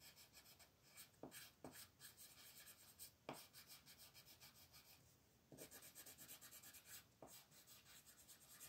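A light blue wooden colored pencil scratches and rubs across a thin white paper mandala sheet lying flat on a table while coloring. Quick, rhythmic back-and-forth strokes make a soft, bright, papery rasp, with a few sharper accents and a brief quieter stretch around five seconds.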